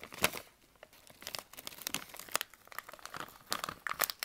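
A partly filled green plastic candy pouch, held in both hands, is squeezed, crinkled and rubbed with the fingertips. The result is a dense run of sharp, bright crackles and rustles with almost no low end, with louder crinkle bursts standing out over softer scratching between them.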